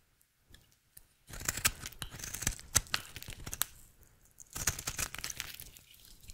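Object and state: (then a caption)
Dry soap bar being shaved. A rectangular, solid, dry pink bar of soap held in the hand is shaved with a utility knife blade in a scraping, cutting motion. After a few faint scrapes, two long bursts of crisp, rasping shaving follow with a brief lull between them, full of bright high crackle over a soft low rumble.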